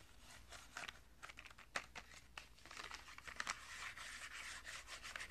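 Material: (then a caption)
Cardboard. A small Crayola box of 10 washable markers, made of thin printed cardboard with a clear plastic window and full of markers, is held in one hand and rubbed and scratched with the fingertips and short nails of the other. Quiet, dry, bright scratching and papery rubbing come with scattered sharp ticks, then settle into a denser, steadier rasp in the second half.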